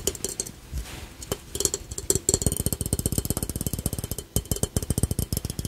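A small hollow glazed ceramic piggy bank shaped like a red ladybug with black spots and a coin slot is held in both hands and tapped with the fingertips and short nails. About 31 quick, dry taps come in uneven bursts that speed up into a rapid patter, each a short hollow knock with a faint ring near 390 Hz and a bright clicky edge that dies away almost at once.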